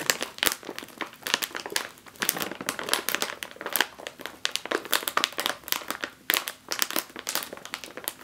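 Fingertips with long nails press and scratch the surface of a full, sealed, foil-lined plastic chip bag, 5 oz size. The result is a dense run of sharp, bright crinkles and scratchy bursts that stop quickly, with almost nothing in the low end.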